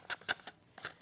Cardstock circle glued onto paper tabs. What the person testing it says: that sounds like it's solid